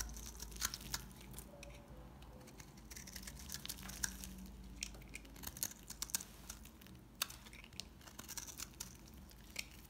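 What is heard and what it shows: A knife shaves crumbly pieces from a dry, solid, dark brown household soap bar held in the hands. Quiet, bright, crisp scraping crackles and sharp clicks come in irregular bursts over a steady low hum.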